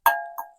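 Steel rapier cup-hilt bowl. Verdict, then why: Solid. The steel cup-hilt bowl of a Kvetun rapier is flicked twice, giving two bright metallic dings with a clear ringing tone around 1.6 kHz that decays smoothly over about half a second. It sounds solid and undamaged even after two to three months of regular use.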